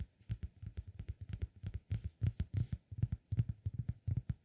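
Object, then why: Cork disk. Fingertips tap rapidly on the face of a round, flat, solid cork disk held in the hands, producing about 25 quick, dull, low thuds. Each tap is soft and dies almost instantly with no ring, falling into an uneven, rippling rhythm.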